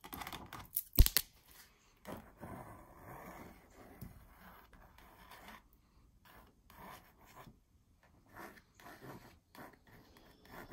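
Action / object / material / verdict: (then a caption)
scrape / printed canvas on a wooden frame / canvas / none. Long purple nails scratch and trace across a small printed "But First Coffee" canvas on a frame hanging on a wall. A brief louder scratchy burst comes early, followed by quiet, intermittent dry scraping and soft rubbing strokes with short pauses between them.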